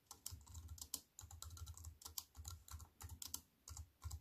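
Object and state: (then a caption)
Aluminium and plastic keyboard being typed on. Fingertips with long white-painted nails type on a slim wireless keyboard with a silver aluminium frame and black plastic chiclet keys, resting on a wooden table. The result is a quick, steady patter of soft, bright key clicks over low, muted thumps, with short bursts broken by brief pauses.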